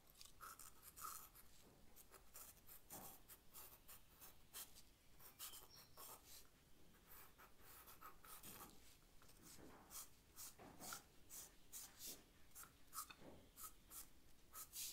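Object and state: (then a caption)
Charcoal drawing on paper. A charcoal stick held in the fingers scratches and shades a leaf drawing on a white paper sketch pad resting on a floral tablecloth. Quiet, dry, gritty strokes come in short bright bursts over a soft low rustle, with longer rubbing passes where the charcoal shades.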